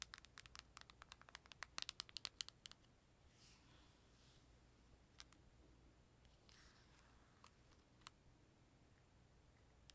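Long nails tap and scratch along the plastic edges and lid of a closed, purple, glossy plastic Nintendo 3DS held in one hand. A rapid run of sharp, bright clicking taps fills the first few seconds, then gives way to soft, hissy scratching strokes broken by a few isolated taps. All of it is quiet and dry, with no ring after each tap.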